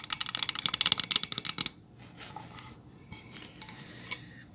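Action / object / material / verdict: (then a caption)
tap / painted pine plank sign / pine wood / none. Long nails tap and scratch a solid painted pine plank sign, lying flat and then held upright. A rapid run of sharp, bright, dry clicks with almost no ring fills the first second and a half. It gives way to quieter, hissy scratching strokes.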